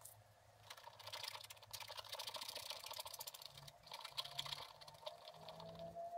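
A pointed wooden stylus held in the fingers scratches short strokes into a black wax-coated scratch-art page in a spiral-bound book lying flat on a table, with a brush lying unused beside it. The strokes make a dense run of crisp, bright, papery scratching with quick taps that die away almost at once. A faint low hum sits underneath, and a thin rising tone appears near the end.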